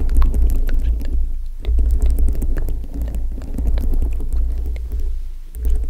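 Long nails tap and scratch over a foam microphone windscreen dome covered with multicolored plastic rhinestones. The sound is a deep, muffled, throbbing rumble centered around 70 Hz, with faint clicks and scratches flickering higher up. It swells and fades continuously, with brief softer lulls near 1.5 and 5.5 seconds.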